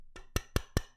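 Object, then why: Steel or aluminium computer case. A hard steel or aluminum Raspberry Pi case is tapped or knocked against a desk five times, the first lightly and the rest as sharp, evenly spaced knocks. Each hit is a short, dry click with a low thump and a bright edge that dies away almost instantly, sounding solid and metallic, showing the case is hard and durable.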